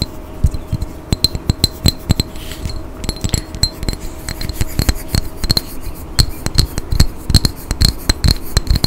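A small pink-tinted glass perfume bottle with a gold cap, hollow and partly filled, is tapped with fingernails and fingertips close to the microphone. The result is a rapid, irregular run of sharp glassy clicks with a thin bright ring high up and a soft low thump underneath, each tap dying away almost at once.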